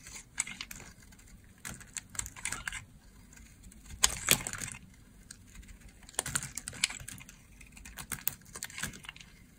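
A hand-held oval green bar of dry solid soap has crumbly slices shaved off with a utility blade. Crisp, bright scraping crunches come in short, uneven bursts with quiet gaps between strokes, each crackle dying away almost instantly.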